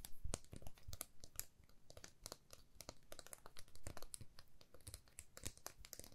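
A flat, thin, solid laser-cut plywood heart with a cut-out swirl pattern, palm-sized and held in both hands, is tapped and scratched with long manicured nails. Quick, dry wooden clicks and brittle scratchy crackles come in a dense, uneven stream. Each tap has a soft low body and a bright edge, and dies away almost at once.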